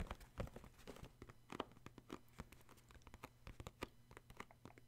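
Fingertips tap the end and bottom of a cardboard tissue box with embossed white sides, making quick, soft, dry taps in an irregular run. Each tap is a short hollow thud with little ring, set against a faint low hum.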